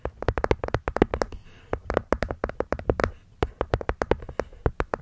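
Long nails tap and scratch the cork top and rim of a small hollow hexagonal wooden box. The quick, dry taps run in a fast, uneven stream with brief pauses, each one short with almost no ring and a hollow body around 380 Hz.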